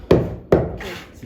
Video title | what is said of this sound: A NEW Project open to the PUBLIC to come SOON!!!! | c'est pas mal ça. Un peu de dessus mais rien de grave